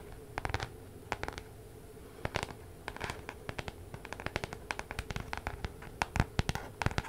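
Long nails scratch and tap the card cover of a spiral-bound paper weekly planner held near the microphone. The result is a quick, irregular run of sharp, dry clicks and scrapes with very little ring, some in tight bursts and others spaced apart, over a low background hum.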